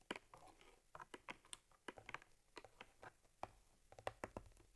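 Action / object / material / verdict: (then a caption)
tap / stitched leather camera case / leather / none. Long nails tap rapidly and scratch along the top leather panel and stitching of a small stitched cowhide leather camera case holding an Argus C3 camera. About twenty quick, dry, clicky taps mix with soft scratchy rustles, each tap dying away almost instantly in a quiet space.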